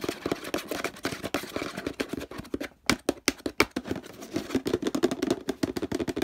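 A large orange hollow plastic detergent bottle with a handle and a label is tapped and scratched with fingertips and nails. The result is a fast run of dry, hollow taps with a mid-range knock near 410 Hz, mixed with brushing scratches. A brief lull before the three-second mark is followed by a few sharper, brighter clicks.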